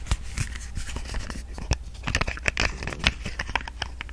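Long nails tap and scratch a small, hollow white and pink plastic body lotion bottle with a flip cap, which seems partly full. Quick, dry clicks and scratchy brushing strokes rise above a steady low hum, each tap dying away almost at once.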